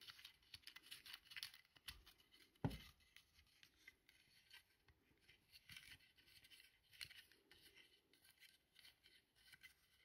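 A small, hollow white plastic bayonet lamp holder is held in one hand while the fingertips twist and rub its plastic shade ring and collar. The result is a quiet run of dry scraping clicks and rubbing with bright, brittle edges, including one sharper, louder click early on.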